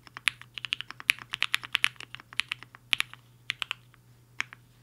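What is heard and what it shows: A compact mechanical keyboard with a black case and white and pink plastic keycaps sits on a desk mat while the fingertips of both hands type fast on the keys. About two dozen sharp, bright clicks clatter in quick, uneven bursts, each dying away almost instantly, with a faint low hum underneath.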